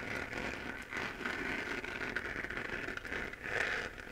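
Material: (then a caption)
Plastic. Long painted nails scratch the cratered surface of a hollow 3D-printed plastic moon lamp glowing pink. The result is a steady, crackly, dry scratching with a strong mid-high band and very little low end. It swells and dips slightly as the nails move across the texture.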